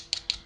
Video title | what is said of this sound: Dolce & Gabbana The One For Men Review | see the outside is kind of metal you can hear it the inside on the other hand is plastic